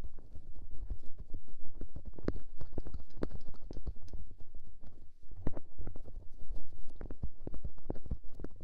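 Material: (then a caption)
Silicone. A fingertip with a dark painted nail rubs and presses directly on the small, soft white silicone ear mounted on the side of a white SR3D binaural microphone box. The result is a dense, continuous stream of deep, muffled rumbling and soft thumping rustles, with nearly all the energy in the low end and no bright highs.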